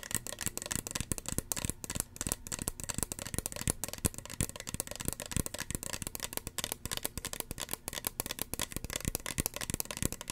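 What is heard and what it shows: Fingernails tap rapidly and continuously on the hollow body and white cap of a small red plastic spray bottle. The result is a dense stream of short, dry clicks with bright, crisp tops and a light hollow knock underneath.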